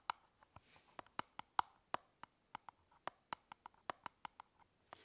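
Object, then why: Hard plastic toothbrush travel case. Long nails tap along the top of a closed, elongated hollow hard-plastic toothbrush travel case held horizontally. The result is a quick, uneven run of sharp, dry clicks with a hollow mid tone around 950 Hz and a bright edge. Each tap dies away almost instantly, with faint soft noise between the taps.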